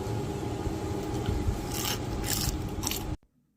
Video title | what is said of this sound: البطاطس المحمرة بملعقة زيت واحدة فى الفرن ومن غير اير فرير👌💯 | سمعتوا بقى صوت القرمشة؟ الطريقة دي بتخليها كده مقرمشة من بره